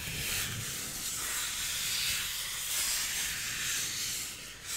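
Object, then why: Styrofoam block. A solid white styrofoam block is rubbed slowly with flat fingers. It gives off a steady, hissy, squeaky friction sound that is bright and high, with little low end and gentle swells in loudness throughout.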